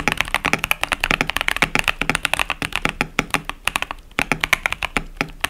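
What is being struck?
Plastic mechanical keyboard with tactile switches.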